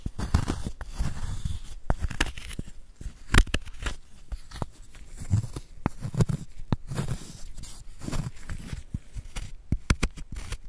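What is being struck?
Block of gym chalk scraped with a wooden spoon.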